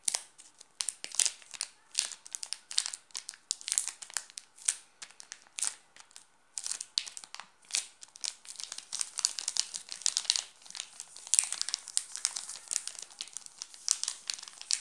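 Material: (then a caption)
Plastic film. A hand rests on a solid, full Nestlé chocolate bar in a crinkly plastic film wrapper while the fingertips scratch and pinch the wrapper. The result is dense, bright crinkling in quick, sharp bursts with almost no low end, and it grows busier and more continuous toward the end.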